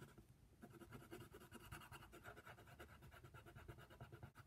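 A hand colors a giraffe's head on a white paper coloring sheet lying flat on a table, using a brown colored pencil. The pencil lead makes a steady, quiet, rhythmic scratching across the paper, with soft strokes carrying mostly low, muffled tones and a faint brighter rasp.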